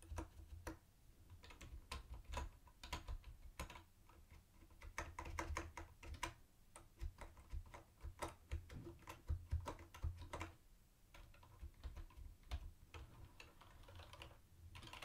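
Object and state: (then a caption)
Plastic typewriter-style keyboard being typed on. Fingertips type steadily on a mint-green, hollow-bodied plastic typewriter-style keyboard with round white plastic keycaps. Quick, short clacks come in uneven bursts and brief pauses, each with a bright click on top of a hollow low thump. A steady low hum runs underneath.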